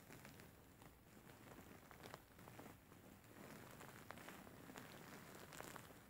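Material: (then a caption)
Faux fur. A large, soft, grey faux fur pillow with soft filling is scratched and kneaded with fingertips and short nails. The result is a quiet, continuous crackly rustling, like light rain on a surface, with faint sharper ticks scattered through it.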